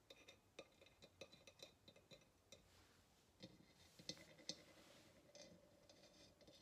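Long nails tap the rim and neck of a hollow ceramic vase, producing a run of quick, irregular clicks with bright ringing overtones. Each tap decays almost immediately. Some taps land harder and louder, and a soft hiss runs beneath them.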